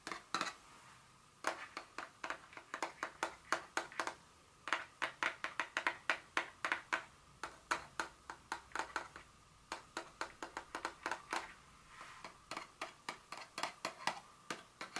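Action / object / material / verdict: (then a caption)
tap / small cardboard box tapped with fingernails / cardboard / none. Very long fingernails tap a small, hollow, printed cardboard Dior fragrance box standing upright on a speckled countertop. Around 55 quick, crisp taps come in bursts with brief pauses between them. Each tap gives a dry click with a faint hollow ring near 1.4 kHz that dies away almost at once.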